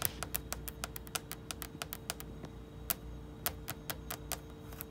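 Long red nails tap and scratch on a small flat photo magnet and the surface of a hollow black metal mini fridge door. A rapid, uneven series of sharp, dry clicks sounds over a faint steady hum.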